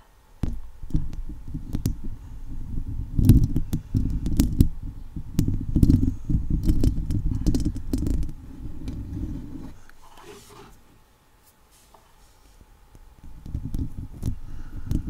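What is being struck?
Woven metal mesh microphone grille.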